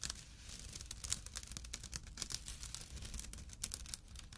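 A small, empty jute/burlap pouch with a drawstring, resting on dark cloth, is scratched with short nails and fingertips. The sound is a continuous, dense run of quick, dry, bright scratches over a faint low rumble.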